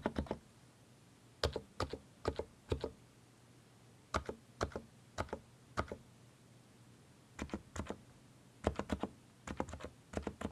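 A compact mechanical keyboard with plastic keycaps is typed on with both hands, then one hand's fingertips press the arrow and Shift keys. Short, dry clicks and clacks come in uneven bursts with quiet gaps between them, each keystroke dying away almost at once over a low background hum.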